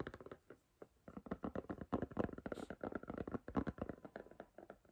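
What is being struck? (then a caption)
Silicone phone case. Long green nails tap and knock on the back and edge of a striped silicone iPhone case. The result is a rapid, uneven run of soft, dull clicks and thuds that die away almost at once, with a low-mid body and little brightness.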